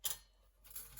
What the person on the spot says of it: they're really crispy, nice, hard on the outside